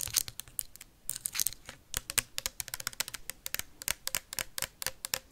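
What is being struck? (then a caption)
Plastic sanitizer bottle tapped with metal paperclips. Metal paperclips tap fast on a tall clear plastic sanitizer bottle with a white cap and liquid inside. The result is a rapid, uneven run of sharp, bright clicks that stop almost instantly, with little low-end body.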